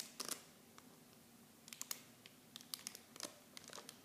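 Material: Plastic film.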